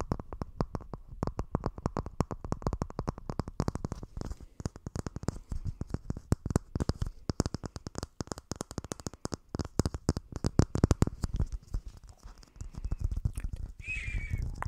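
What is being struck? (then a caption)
Small clear plastic round container. A small, clear, hollow plastic round container or lid, apparently empty, is held close to the microphone and tapped and scratched with fingertips and short nails. It makes a rapid, dense stream of short, dry, low taps with no ring. Near the end it shifts to a brief, higher squeaky scratch.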